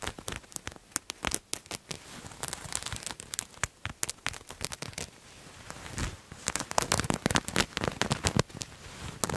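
A purple patterned fabric garment is held in both hands while fingernails scratch and crinkle the cloth. The result is a dense run of sharp, dry crackles and rustles with bright high edges, coming in quick irregular bursts and growing busier toward the end.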